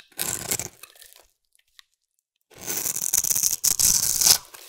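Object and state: Soap bar scraped with a blade.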